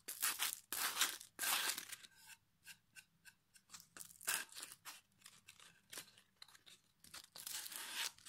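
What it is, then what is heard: Pine wood board being sanded. A solid pine plank is held upright in one hand while its face is rubbed with folded sandpaper held in the other. Bright, rasping sanding strokes come in bursts: long, loud sweeps at the start and end, with shorter, quieter scratchy strokes in between.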